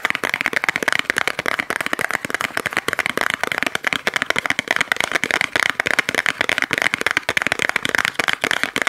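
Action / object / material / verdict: tap / small cardboard box / cardboard / none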